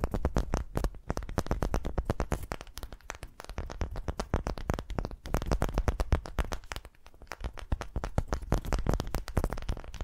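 A single solid, palm-sized ball of unfinished light wood is held close to the microphones and scratched and tapped with the long fingernails of both hands. A dense, continuous stream of quick, dry taps and scratchy strokes is heard, with a heavy low-end thump from the close placement and each sound dying away almost at once.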